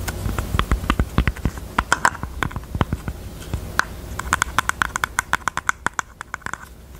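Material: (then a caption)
Velvet. Long teal nails tap and scratch the lid of a small, hollow, hot-pink heart-shaped jewelry box covered in velvet flocked fabric, with a paper label on the lid. A rapid series of many short, dry taps each carries a soft low thump and a faint hollow ring near 1 kHz, with light scratching in between. The taps grow more evenly spaced toward the end and fade into quiet.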